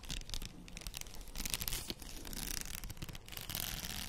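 Long nails scratch across the plastic beads of a faux pearl padded headband held up with both hands. The result is a dense, continuous stream of quiet, dry clicking and scraping with bright, crisp texture over a low rumble.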